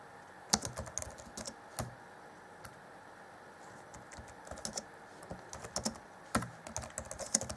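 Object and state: Plastic laptop keyboard.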